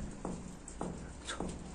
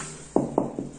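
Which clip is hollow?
The second.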